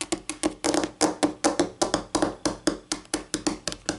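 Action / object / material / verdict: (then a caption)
tap / laminate tabletop tapped with long fingernails / laminate / none. Long acrylic-painted nails, pink and navy, tap rapidly with both hands on a solid, flat white wood-grain laminate tabletop. About 20 short, crisp clicks land in an uneven rhythm, each with a faint tone around 290 Hz and a very quick decay.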